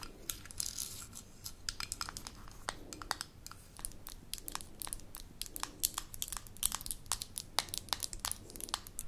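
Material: Glass.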